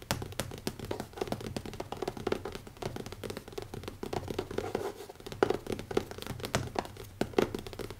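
Fingertips with short nails tap rapidly on the cover of a closed black leather-covered hardcover notebook with an elastic band, lying flat on a wooden table. The result is a fast, continuous patter of soft, dull taps with short, dry thuds and light clicky edges, without any ringing.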